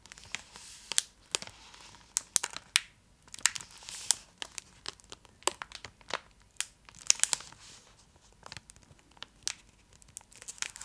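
A large, full purple Cadbury Dairy Milk chocolate block in a foil-lined plastic wrapper is held upright and scratched along its top edge with long acrylic nails. Dense, bright crinkling and sharp scratchy ticks come in quick bursts with short gaps, and there is almost no low end. Each scratch stops dead with no ring.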